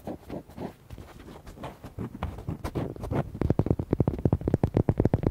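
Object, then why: Rubber duck toy. Fingernails tap and scratch the back and side of a red, hollow, palm-sized rubber duck toy, making dull, low, hollow thuds and soft scraping. Muffled, uneven scratching and tapping come first, then give way to faster, sharper rapid taps in the last two seconds.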